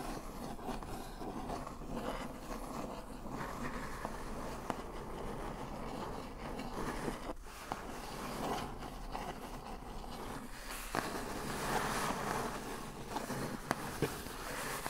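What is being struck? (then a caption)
Corrugated cardboard box. A large, hollow, brown printed corrugated cardboard shipping box is tapped and scratched on its lid with one long acrylic fingernail. A soft, steady papery scratching fills the clip, broken by a few short, sharp taps with a hollow midrange tone.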